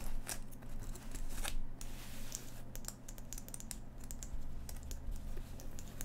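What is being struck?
Cotton denim jacket.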